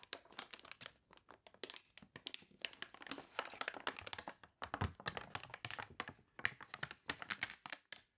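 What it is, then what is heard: Water-warped paper catalog. Fingernails scratch the wavy pages of a water-warped paper toy catalog, making quiet, dense bursts of bright, crisp crinkling and scratching with almost no ring. Partway through, a page is turned with a fuller rustle, then rubbed, and the brittle crunching continues.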